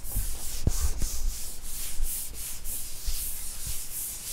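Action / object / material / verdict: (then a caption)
scrape / wood-grain school desk top / wood / none. Fingers rub across the flat wood-grain surface of a school desk top, a large solid panel, making a steady, bright, hissing scrape that swells and fades in rhythmic strokes. Fingertips tap on the top now and then, adding soft, dull low thumps beneath the rubbing.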